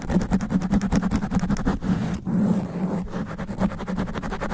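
Extra long black nails scratch fast and aggressively across a sponge foam microphone windscreen. The result is a rapid, uneven run of close, muffled rasping strokes with a heavy low rumble and a brief smoother brushing stretch in the middle.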